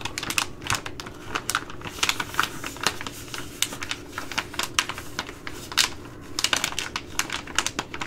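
A Ready Rice plastic laminate pouch, held in both hands, is tapped and scratched with long glittery nails. It gives a quick, uneven run of sharp, bright clicks and crackly scratches that die away almost at once, over a faint low hum.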